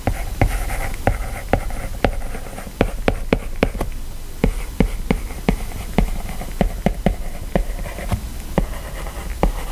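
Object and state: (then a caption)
Stylus on glass tablet screen. A plastic stylus writes text in steady strokes on an iPad's glass screen, rubbing across the glass and lightly tapping it. About 22 short, sharp clicks stand out over a soft, low scratching hiss, each dying away almost at once.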